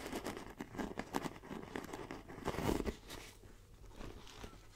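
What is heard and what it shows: Long nails tap and scratch the front panel of a small black pebbled faux leather backpack, making soft, close crinkly taps and rough scraping. A louder scratching swell comes near the middle before the sound fades to quieter rubbing.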